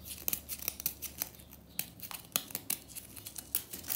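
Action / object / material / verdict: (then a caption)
scrape / compressed powder bath bomb / compressed powder / none. Long nails crumble and scratch a small pink remnant of a solid compressed-powder bath bomb in the bath, with crumbs falling. About fifteen sharp, bright, dry crackles and scrapes come at an irregular pace over a quiet, soft background.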